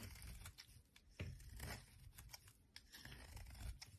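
A thin metal blade repeatedly scrapes and cuts a palm-sized solid white bar of soap held in the hand, curling shavings that pile up. The result is a quiet series of dry, crisp scraping and tearing strokes with bright crackle over a low rumble, each stroke cutting off quickly.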